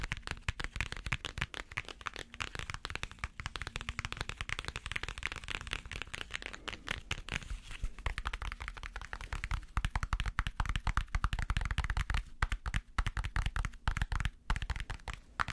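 Fingernails tap rapidly and continuously on the glossy printed cardboard covers of a small hardcover picture book held in the hands. The result is a dense stream of short, dry clicks with a heavy low thump beneath them and very little ring.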